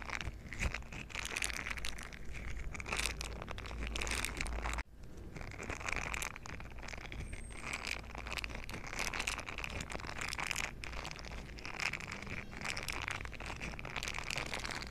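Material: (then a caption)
Silicone. A green silicone scrubber pad with bristle nubs is bent and squeezed in both hands, and its bristles are rubbed together with fingers. The result is a continuous close-up crinkling, scraping rustle with a bright edge over a steady low hum, and it cuts out briefly just before the five-second mark.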